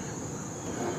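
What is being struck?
Nothing is struck.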